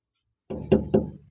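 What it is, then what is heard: Firmly inflated truck tire. Three knocks on a truck's rubber tire give short, solid, low thuds with almost no ring. The hard sound shows the tire is firmly and properly inflated after the truck sat parked for four days.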